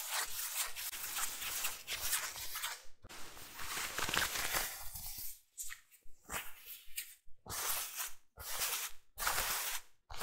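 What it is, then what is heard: Nylon rain jacket being scratched. Fingertips and nails scratch and rub the front and collar of a worn blue synthetic nylon/polyester rain jacket with a patterned collar lining. Dense, bright, crackly rustling comes in long bursts broken by short silent gaps, with a faint low rumble underneath.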